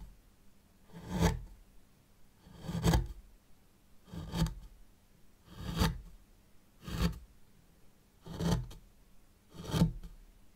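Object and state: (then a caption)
Fine sand raked in a zen garden tray. A white plastic rake handle, held in long-nailed fingers, is drawn through fine sand in a small hexagonal zen garden tray to draw patterns. Seven soft, evenly spaced scraping strokes are heard, each a brief grainy hiss with a low, dull body that fades quickly into quiet between passes.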